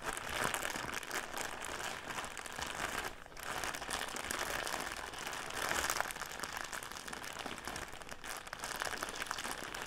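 Fingers scratch and crinkle an upright clear plastic bag full of cotton pads held in both hands, making dense, bright, continuous crinkling. A brief lull comes near the three-second mark before the rustling picks up again and continues steadily to the end.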